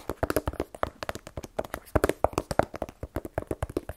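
A small black rigid cardboard iPhone 12 Pro box, hollow with the phone inside, is held in one hand and tapped with the fingernails of the other. The result is a rapid, uneven series of dry, hollow taps with a mid-range knock around 630 Hz that stop instantly with no ring.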